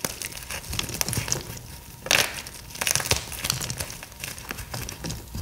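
Both bare hands grip and squeeze solid, brittle pieces of a green pasted gym chalk block, crumbling them into powder and flakes. Dense, bright crunching and crackling runs throughout, with louder crushing bursts, the strongest just after two seconds.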